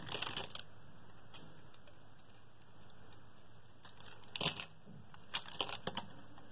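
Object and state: Bar of soap being carved.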